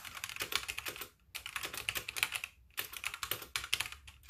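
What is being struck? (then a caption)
Mechanical keyboard with plastic keycaps. Fingertips with painted nails type with both hands on a full-size backlit mechanical keyboard with white plastic keycaps resting on a wooden desk. Rapid, bright, clacky keystrokes come in quick runs with two brief pauses, each click dry and very short, centred around 2.8 kHz with almost no low end.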